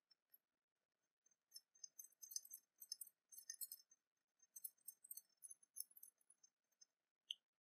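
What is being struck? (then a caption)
Small cast-metal dragon pin. Long fingernails tap and click against a small copper-coloured openwork cast-metal dragon brooch held in the fingers. Quiet, bright, dry clicks come in quick irregular bursts with almost no ring, and one sharper click follows a pause at the end.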